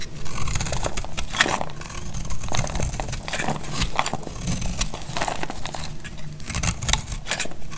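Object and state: Dry soap bar, crunchy.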